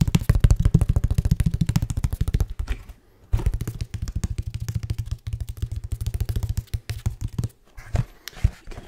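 A medium, flat, patterned brown cardboard box, hollow and held upright in one hand, is tapped quickly with the fingertips of the other hand. Dozens of rapid, dull, low thumps fall in uneven bursts, each dying away almost instantly. The tapping briefly stops near the three-second mark and again near seven and a half seconds.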